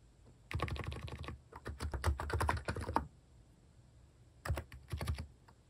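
Fingertips type on a compact plastic electro-capacitive mechanical keyboard with plastic cat keycaps, a hand resting on the keys. A rapid run of soft, low, thocky keystrokes lasts about two and a half seconds, then a pause, then a shorter burst near the end.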